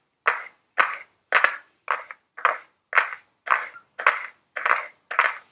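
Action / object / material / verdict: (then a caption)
tap / small flat cardboard box / cardboard / none. Very long blue nails tap on a small, flat Ellen Tracy cardboard makeup palette box held upright. Ten separate bursts of quick clicking taps sound in a steady rhythm, each a dry, papery cluster with a midrange hollow knock and no low end.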